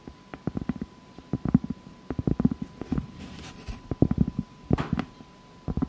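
Long fake nails tap and scratch the rough surface of a large, solid round cork board or trivet, first lying flat and then held up. Quick, dull, low-pitched taps come in uneven bursts with no ring, broken by a short stretch of soft, airy scratching. A faint steady tone runs underneath throughout.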